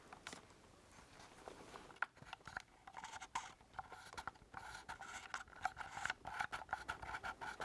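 A black plastic ColecoVision-style game controller with a knob and a number keypad, its hollow handheld body held close in both hands, is tapped and pressed on its keypad buttons with fingertips and nails. A quiet soft rustle at the start gives way to a stream of small, dry plastic clicks and taps in an uneven rhythm. Each tap is short with no ring and a hollow, mid-pitched tone, growing busier and slightly louder toward the end.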